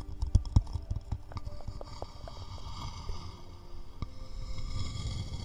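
A small, hollow, empty round wooden bowl is held in one hand close to the microphones and tapped with the fingertips. The taps are short, deep, hollow knocks centered low, around 100 Hz. They start louder and more spaced, then settle into softer, quicker tapping over a faint steady hiss.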